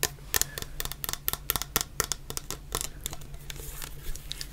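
Long painted nails tap a medium clear plastic bottle full of orange shower gel, held sideways. A rapid, uneven series of sharp, dry clicks sounds with bright high edges and almost no ring, over a faint low hum.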